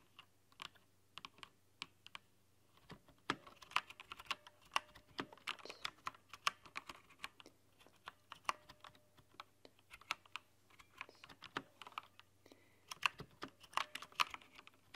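Two hands with long nails type on a plastic, rainbow-backlit mechanical keyboard, tapping the keycaps. The result is a steady, irregular stream of sharp, bright clicks that die away almost instantly, with brief pauses between the quicker flurries.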